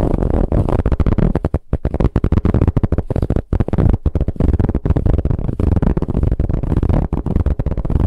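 Long nail tips tap and scratch quickly over a soft brown ribbed fabric pillow. The result is a dense, muffled, low-heavy rustle of short scratching bursts with brief pauses and little brightness.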